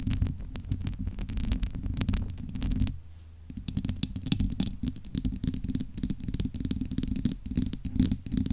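Long acrylic nails scratch and rub the domed, hollow steel-mesh grille of a large USB microphone, producing a dense, rumbling scraping texture concentrated in the low end, with fast crackly strokes on top. The sound eases into a softer, quieter stretch for about half a second near the three-second mark, then the busy scratching resumes until the end.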